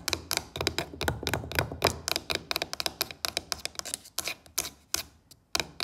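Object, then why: Carved wooden box lid with brass inlay, tapped with long nails. Long fake nails tap and scratch across the carved surface of a wooden box lid with a brass elephant inlay. A fast, dense run of crisp, bright clicks with short scratchy strokes gradually thins into more spaced-out taps near the end. Each tap is dry and dies away almost instantly.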